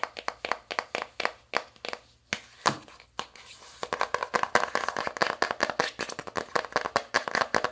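An open navy cardboard eyeshadow palette with five pans has its inner lid tapped with long acrylic nails. The result is a run of quick, dry, clicky taps with bright edges and almost no low end. The tapping is sparse at first, then speeds into a dense, uneven patter.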